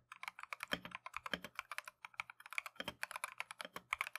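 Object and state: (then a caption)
Mechanical keyboard with plastic keycaps. A Keychron V1 compact mechanical keyboard with Tangerine switches and green and white Matcha plastic keycaps is typed continuously with gloved fingertips. About 32 quick, bright, clacky keystrokes decay almost instantly, with a few heavier strokes adding a deeper thock.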